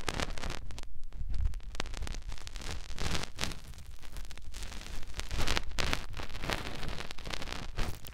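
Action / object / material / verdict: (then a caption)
scrape / silicone ear of a binaural microphone / silicone / none. Fingertips rub and press the outer part of a soft silicone ear on a white binaural microphone. The result is a close, continuous, low, muffled rumble of rubbing and pressing, with dense scratchy, crackling bursts running through it.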